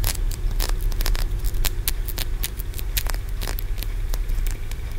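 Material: Aventurine stone.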